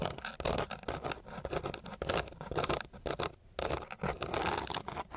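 The tip of a flat wooden stick scratches and pats across a flat, gritty sheet of coarse sandpaper. It makes dense, rough, rasping scrapes broken by quick tapping pats, with a brief quieter gap midway before the scratching resumes.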